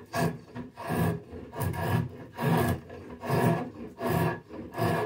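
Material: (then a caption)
Ash wood. A drawknife held in both hands is pulled along a long, solid ash branch clamped horizontally as a walking stick blank, shaving off bark and wood. The result is a steady run of rasping scraping strokes with a woody low body. Each stroke swells and fades at a roughly regular pace.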